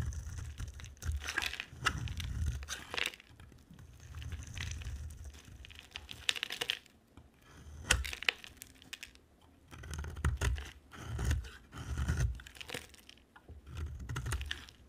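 A solid white oval bar of dry soap with an orange outer layer is shaved with a utility-knife blade, held in a hand with long dark nails. Repeated bursts of dry, crinkly scraping carry bright crackle over a soft low rumble. Quiet pauses fall between the strokes.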